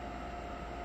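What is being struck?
Nothing is struck.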